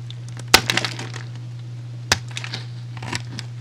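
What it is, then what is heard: Soap bar being cut. A metal utility blade scores a solid, hand-sized, animal-shaped pink soap bar held in the hand, slicing off cubes and slabs with a cutting, scraping action. Three main crisp, bright crunching bursts are heard, each followed by smaller crackles as the pieces come away. A steady low hum runs underneath throughout.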